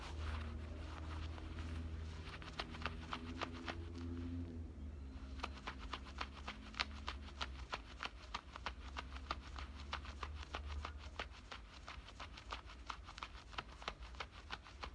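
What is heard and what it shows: Fingernails scratch at the front pocket opening of worn black denim cutoff shorts, making rapid, uneven bursts of dry, bright scratching strokes. A steady low hum runs underneath, with faint droning tones in the first few seconds.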